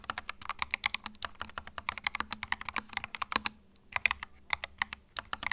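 Fingertips type continuously on a compact white mechanical keyboard with plastic keycaps, producing about forty sharp, bright clacks that stop almost instantly. A brief pause comes partway through before the quick, uneven typing resumes.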